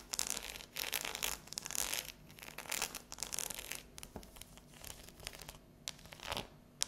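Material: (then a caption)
Chocolate. Long yellow nails tap and scratch a solid, unwrapped dark chocolate bar with a ridged pattern as it lies on a table and is then tilted up. The sound is a bright, hissy run of fast scratching bursts mixed with sharp little clicks, without any low-end body.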